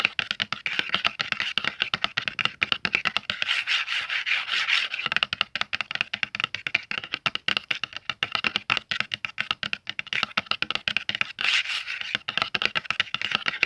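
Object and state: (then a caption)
Cardboard pastel box, tapped and scratched. Fingertips and short nails tap and scratch the back of a closed, medium-sized, hollow red printed cardboard oil pastel box. The rapid, dry clicks and scratchy rubbing sound bright and papery, with almost no low end and no ring after each touch.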